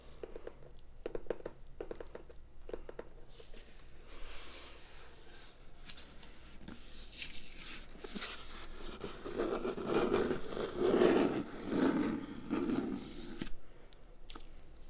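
A closed, small brown corrugated cardboard shipping box with a GlobeIn print is held up in one hand while long red-painted nails tap and scratch over its top and side. Light, quick taps come first, then denser, louder scraping and rubbing swells in the second half before easing off.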